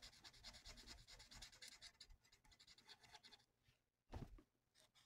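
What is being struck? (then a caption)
Paper sheet rubbed with a felt-tip marker. A felt-tip marker colors a thin, flat paper coloring sheet resting on a table, making quick, scratchy rubbing strokes with a bright, hissy texture and a soft low tap beneath each one. The steady back-and-forth strokes fade into a brief pause, then a louder, fuller stroke lands before a few quieter ones close the clip.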